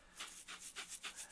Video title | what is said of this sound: Videotape Teaching Lesson | you are striking the sides of the container from the inside with the breadcrumbs that are inside of there